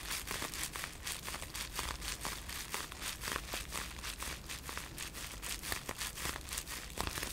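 A folded bundle of blue-tinted polyethylene bubble wrap with air-filled bubbles is held in both hands while fingers squeeze and crinkle it. A steady crackling rustle runs throughout, with short, sharp, bright crinkles and snaps scattered at an uneven pace over a low rumble.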